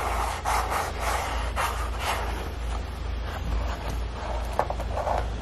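Fingertips rub and tap across the perforated toe of one empty, hollow dark grey Crocs clog made of soft molded foam resin, then press along its rounded heel rim. The result is a steady stream of soft, muffled rubbing and squeaky scuffs with mid-pitched bursts, a few light taps, and a constant low rumble underneath.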